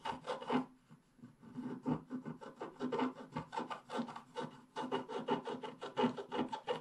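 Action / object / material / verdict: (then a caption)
scrape / coated scratch-art paper scraped with a wooden stylus / coated paper / none. A wooden stylus scratches the black coating of a flat scratch-art paper page near its bottom edge in rapid strokes. It makes a steady run of short, dry, raspy scratches with a brief pause before the strokes quicken again. Each stroke stops dead with no ring.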